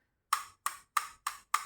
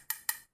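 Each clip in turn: First: hollow computer mouse. Second: solid wireless microphone body.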